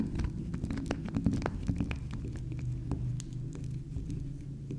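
Long acrylic nails tap and scratch the top and side of a small, round, soft pink spiral soap that is solid. Soft, muffled taps and brief bright clicks patter over a steady low, throbbing hum, with little high-end content.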